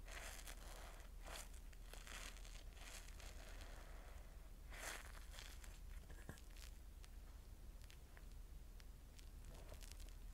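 Fingers squeeze, fold and rub a wet, foamy yellow porous cellulose sponge above a bowl of suds. It makes soft, irregular crinkling and bubbly crackling with bright bursts of fizz over a steady low hum. A brief squeaky tone sounds around the sixth second.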